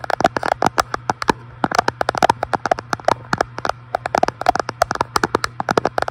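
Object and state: Glass front panel of an electric fireplace.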